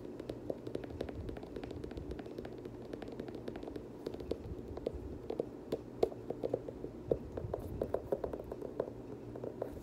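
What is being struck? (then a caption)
Sneaker with nubuck upper and plastic midsole. Fingertips and nails tap and scratch the foam/plastic midsole and nubuck upper of a hollow black, blue and gold Air Jordan 7 sneaker. The result is a quick, steady stream of light, dry, hollow taps centered in the midrange, with a soft scratchy rustle underneath. Each tap dies away almost instantly.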